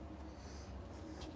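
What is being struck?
Nothing is struck.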